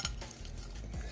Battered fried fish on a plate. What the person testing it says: Hear how crunchy that is.